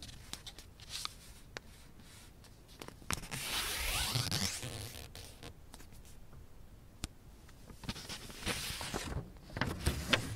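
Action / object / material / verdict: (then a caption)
scrape / thin origami paper sheet / paper / none. A thin light blue origami paper sheet, folded into a triangle, lies on a black surface while fingertips and nails rub along its folds to crease it and then lift a flap. Soft, bright papery rubbing and crinkling swells and fades, scattered with sharp little ticks and taps.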